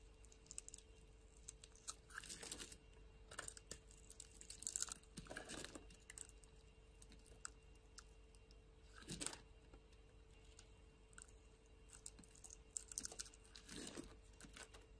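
A solid green bar of soap is held in the hand while a metal blade shaves its edge into curls. Quiet, crisp scraping and crunching strokes come in short irregular bursts, bright and dry with almost no ring. A faint steady hum runs underneath.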